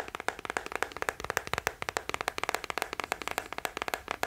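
Fingertips and nails tap quickly on the hollow hard-shell back of a small teal plastic scalp massager brush held close to the mic. About 29 sharp, dry, clicky taps come in an uneven rapid flurry, each bright and hollow-sounding with almost no low end. Every tap stops instantly with no ring.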